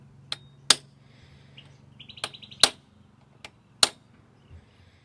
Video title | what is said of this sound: Fitting Injector Blanks and Fuel System - 4AGE Twin Carbs Conversion | when you're tapping you'll hear a much more of a solid sound